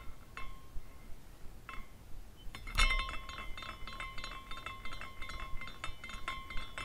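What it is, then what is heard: Glass carousel figurine. A hand spins a small glass carousel figurine, and its hanging glass horses tinkle against each other. Isolated clinks ring out with a clear tone near 1 kHz, then a louder strike near three seconds sets off rapid, irregular chiming that continues to the end over a low background rumble.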